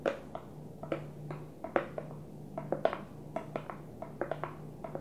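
Long fingernails tap the blue lid and sides of a small, empty, translucent plastic food container, making about twenty short, bright clicks in an uneven rhythm. Each tap is hollow and mid-pitched and dies away almost at once over a faint, steady low hum.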